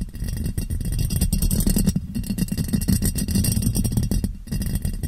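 A clear, ribbed glass jar, hollow and empty, is turned upside down over a microphone and tapped on its sides with fingers. The result is a rapid, continuous run of soft, hollow taps that sound muffled and low, centered near 195 Hz, with very little brightness and almost no ring after each tap.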